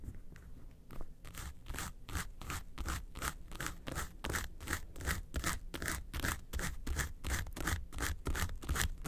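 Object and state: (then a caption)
Faux leather makeup case scratched with nails. Long nails scrape back and forth across the front face of a small, hollow, yellow textured faux-leather makeup suitcase. The result is a rapid, fairly steady series of dry, scratchy strokes, each with a bright rasp and a low hollow thrum from the case.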